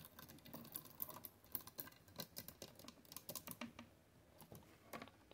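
A row of white plastic clothes hangers with hollow hooks, hanging on a closet rod with clothes below, is tapped and clicked by long acrylic nails and fingertips. The result is a quick, irregular patter of quiet, dry, bright clicks that stop almost instantly, with a faint low rustle underneath.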